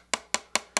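Four sharp, bright taps on the thin, cheap plastic frame of a small woofer with a polymer cone, each a quick clicky knock centered high in the midrange that dies away almost instantly. Unlike a high-strength polymer frame's dull thud, this frame sounds light and flimsy, though it does not ring.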